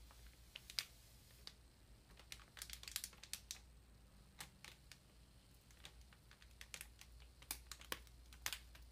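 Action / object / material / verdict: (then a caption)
tap / ream of paper in plastic wrap / plastic / none. Long nails tap and scratch across the top of a large, solid paper ream wrapped in plastic. Sharp, bright clicks and short crinkly scrapes come in uneven bursts over a faint steady low hum, each one dying away almost instantly.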